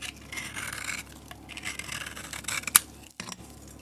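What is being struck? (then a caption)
Bar of soap scraped with a knife blade. A utility knife blade carves and scrapes curls off a solid tan-yellow bar of soap held in the palm, making bright, hissy scraping strokes with little low end. A sharp click stands out near the end, followed by a brief silence before the quiet scraping resumes.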